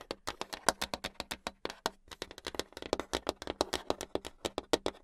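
Long acrylic nails tap fast on a flat, solid brown hardboard clipboard, producing a rapid run of about 34 dry, clicky taps. Each tap is short with almost no ring, bright at the top and with little low end.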